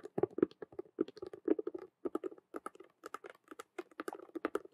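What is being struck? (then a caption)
Vinyl and faux-leather cube handbag. Long nails on both hands rapidly tap and scratch the side of a hollow vinyl Rubik's cube handbag with a clear vinyl window, a patent faux-leather frame and a hanging chain. The result is a dense, quick patter of short, dry clicks and scrapes with a hollow mid-low body and bright edges, broken by brief pauses between bursts.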